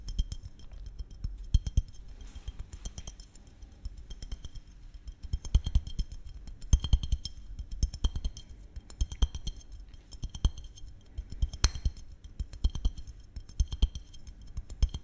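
A small glass syrup bottle with a red cap is held close to the mic and tapped with fingernails. Rapid, hollow, clinking glass taps sound in uneven bursts, each dying away almost instantly.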